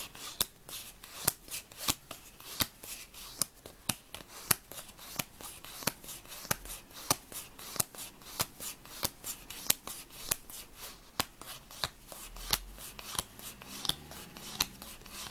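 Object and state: Paper playing card deck being shuffled.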